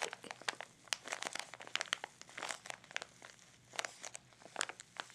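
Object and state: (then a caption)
Plastic blister pouch packaging. A small, hollow, clear plastic blister pouch with a cardboard insert, holding a facial mini scrubber, is held in both hands over an open pink gift box and crinkled and rubbed with the fingertips. It makes a dense, irregular run of sharp, bright crackles and crunches with brief rustling between them. The sound has almost no low end and each snap dies out instantly.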